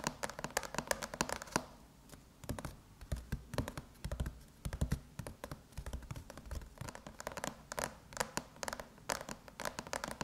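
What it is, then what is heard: Aluminum laptop lid. Long metallic nails tap and lightly scratch the surface of a closed silver aluminum MacBook lid with an Apple logo, in quick typing-like patterns. Dense, dry clicks with brief scratchy strokes come in uneven bursts, with a short lull around the two-second mark, and each tap dies away almost instantly.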